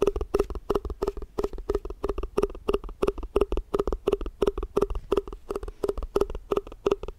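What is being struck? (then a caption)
Plastic food container. Fast, aggressive tapping on a plastic tupperware food container produces about 42 quick, dry knocks, often falling in rapid pairs. Each hollow tap centers around 400 Hz with a bright clicky edge and dies away almost instantly, with no ringing between strikes.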